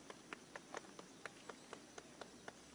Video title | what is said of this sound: Sacred Birthing Temple, Anahola Heiau on Kauai | you can tap on the top here it's hollow